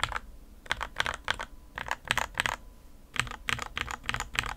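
Fingertips type on the plastic keycaps of a white plastic 60% RK61 mechanical keyboard with a foam and tape mod, first with one hand and then with two. Short, bright clacks arrive in quick clusters separated by brief pauses, each keystroke dying away almost instantly with little low end.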